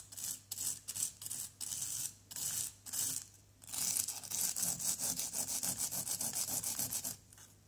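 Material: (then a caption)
Plaster. A flat white plastic scraper is dragged in sawing strokes across a solid, pitted yellow plaster dig-kit block. It makes a bright, dry rasping scrape: several short separate strokes come first, then a longer, steadier run of rapid back-and-forth scraping that stops abruptly.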